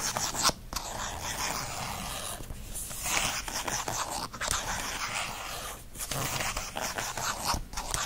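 Fingernails scratch quickly across the textured faux leather cover of a planner with plastic disc rings. The result is a steady, bright, rasping scrape that runs almost continuously, broken only by a few brief dips and small sharp accents.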